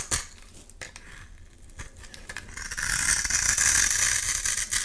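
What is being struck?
Bar of soap scraped with a metal blade.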